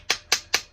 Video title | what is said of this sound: STOKER GETTING REAR MAINS SEAL REPLACED | You can hear it when it's metallic noise. That's when you know it's flush.